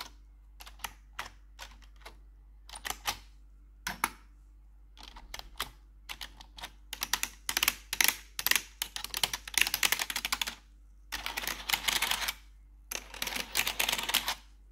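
Long pointed metal nail claws worn over blue gloves type on and tap the keys of a black plastic RGB backlit computer keyboard. At first there are sparse, single sharp bright clicks. They build into dense, rapid clattering bursts of typing separated by short pauses, with a faint steady low hum underneath.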